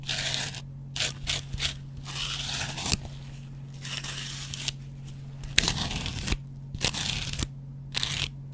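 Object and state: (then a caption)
Dry cellulose sponge scraped with a razor blade. A metal double-edge razor blade scratches and scrapes the yellow cellulose foam of a dry, hand-sized kitchen sponge backed with a green scouring pad. Short bursts of bright, crunchy, crackling scraping come and go with brief pauses between them, over a steady low hum.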